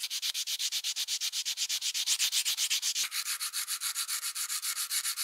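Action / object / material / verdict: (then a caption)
scrape / steel plier half rubbed with sandpaper / steel / none. Gloved fingers rub folded sandpaper over a solid steel plier half clamped in a vise, part of restoring a rusty plier. About 40 rapid, even sanding strokes make a bright, dry rasping hiss with almost no low end. The texture turns slightly smoother about three seconds in.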